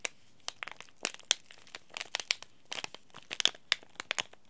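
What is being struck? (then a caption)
Laminated plastic-foil tea bag sachet. A small, sealed, green laminated plastic-foil tea bag sachet is crinkled and crushed between the fingertips. It makes a rapid, irregular run of sharp, dry crackles and crinkles, bright and high with almost no low end. Each crackle snaps off instantly with no ring.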